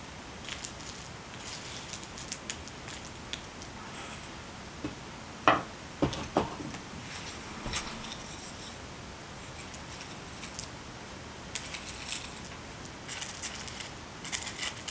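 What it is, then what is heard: Small river pebbles. A thin wooden rake handle taps and pokes a handful of small, solid, polished river pebbles of mixed colours held in an open palm, making them click against each other. Bright, short clicks and soft rattles come at an irregular pace over a quiet hiss, with the sharpest clicks clustered near the middle.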